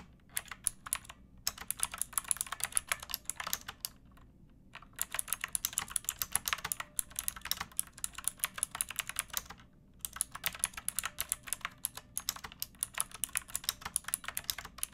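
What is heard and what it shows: Long nails and fingertips type on a backlit pink mechanical keyboard with round plastic keycaps and a hollow plastic case. Rapid, bright, clicky key taps come in steady bursts, with a few short pauses between runs of typing.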